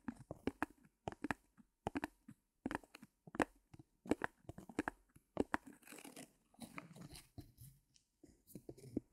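Long painted nails and fingertips tap and scratch the surface of a small white fabric canvas stretched over a thin wooden frame, standing on a mini easel and later lifted. Quick, dry, papery taps come in close clusters with brief gaps, giving way midway to softer, continuous scratchy rustling before a few final sharp taps. The sound is quiet and close, with no ring after each tap.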